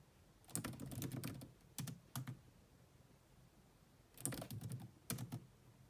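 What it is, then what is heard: Plastic laptop keyboard. Long manicured nails and fingertips rapidly tap the dark plastic chiclet keys of a grey laptop with a hollow body. The result is quick bursts of soft, hollow clicks, low and thuddy with bright tips, separated by short pauses. The taps are clustered around the first and second seconds and again near the fourth and fifth, with a quiet background between bursts.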